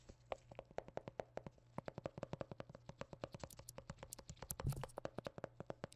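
Black-gloved fingertips tap and knock on a hollow white plastic squeeze tube of hand cream with a blue cap, making 47 quick, soft taps. Each knock is short and dull with a faint hollow tone and almost no ring. A slightly louder, muffled thump comes near the end.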